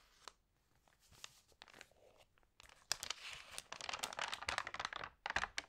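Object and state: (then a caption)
Glossy paper magazine pages. Hands with long nails rub, press and flip the glossy pages of an open food magazine. Soft, sparse rustles in the first half give way to dense, bright crinkling and sharp, tearing-like paper sweeps that grow louder toward the end.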